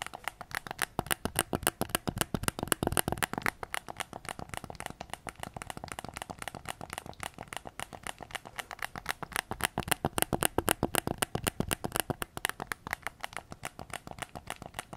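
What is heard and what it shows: Fingertips tap rapidly and unevenly on the hollow plastic shell of a white PS5 controller, held with its back facing up. Each tap is a short, dry plastic click with no ring, and the taps run in a dense, steady stream with a few louder bursts.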